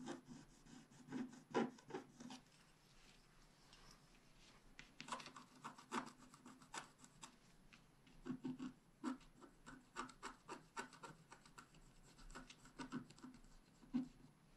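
A wooden stylus scratches dense, fine lines into the mane area of a flat scratch art paper sheet held by one hand. The sound is a series of quiet, dry, raspy scrapes and rubs with short bright edges and no ring. The strokes come in clusters with brief pauses between them.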